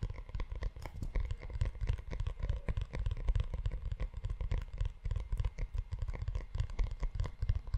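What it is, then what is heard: Leather-covered notebook. Fingertips and short nails tap and scratch the cover and spine of a closed, hand-sized brown leather-bound notebook with a solid book block, held close to the microphone. The result is a dense, continuous stream of quick, dull, low thumps and soft scratching with almost no ring, its energy concentrated in the deep low end.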